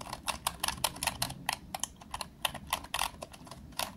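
A fingertip taps the round plastic keys of a green plastic retro calculator one by one, then both hands press several keys rapidly. About twenty short, dry, bright clicks sound with almost no ring and very little low end.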